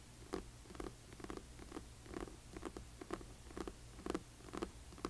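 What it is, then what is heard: Hardcover book with paper dust jacket. Long fingernails of both hands tap and scratch the glossy paper dust jacket of a large hardcover book lying flat. A quick, uneven run of soft, dry clicks with a low-mid thump and brief bright scratchy edges fades almost instantly over a faint background hum.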